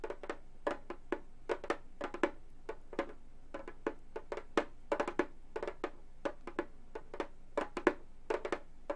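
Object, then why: Frame drum with synthetic head. A round Remo frame drum with a synthetic skin-look head, hollow and lying flat, is tapped with long gold metal finger claws on both hands. A quick, irregular run of short, dry taps follows, each with a mid-pitched hollow thump and a faint bright click from the metal tips that dies away almost at once. A low, steady hum sits underneath.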